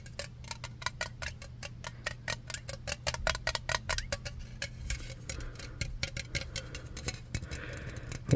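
Fingertips tap rapidly along the body of a black metal aerosol spray can, held sideways and then upright. The taps are quick, dry, clicky ticks with almost no ring, over a steady low hum. They turn softer and more scattered in the second half, and the clip ends on a louder knock.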